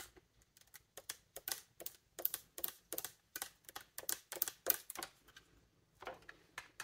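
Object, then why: Metal key mechanism on a wooden bassoon. Long nails quickly tap and press the silver key mechanism of a large, hollow wooden bassoon. About two dozen dry, bright clicks come in an uneven, rapid patter, each stopping almost instantly with no ring.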